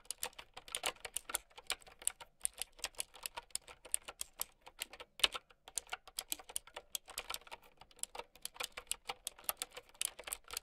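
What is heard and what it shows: Fingertips and long nails type continuously on a mint and white plastic typewriter-style mechanical keyboard with round keycaps. The result is a steady stream of sharp, bright, clicky key presses that die away almost instantly, with little low end.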